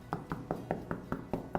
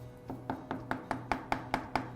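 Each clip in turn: First: solid plaster wall. Second: hollow spot in cracked plaster wall.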